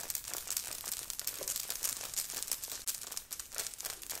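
Long fingernails on both hands rapidly scratch a grey knit sweater with a beaded, sequined heart on the chest, worn on the body. The result is a dense, bright, crinkly scratching that runs almost without pause, with only a brief dip partway through.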